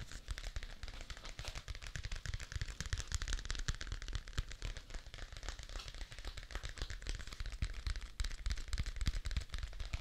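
A thick paper notebook with a blue cardboard cover, a solid stack of paper held upright, is tapped rapidly with fingertips and nails on the cover. The taps come as a fast, uneven patter of short, dry clicks with a dull low thump beneath and a bright crisp edge.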